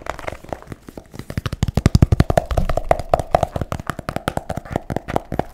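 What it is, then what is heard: Hardcover book. A solid blue hardcover book, about A4 size, is held upright in one hand and tapped rapidly on its cardboard cover, likely with fingertips. Dozens of quick, dull, low knocks come in an uneven stream, heaviest around the middle. A faint midrange ring hangs under the taps in the second half.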